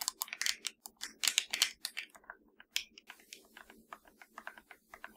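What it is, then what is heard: Plastic game controller tapped and scratched with nails. Long nails tap and scratch along the hollow top edge of a black plastic PS4 controller. A quick run of bright, dry clicks comes first, then a soft, hissy scratching texture with lighter taps over it. Each click cuts off almost instantly, with no low end at all.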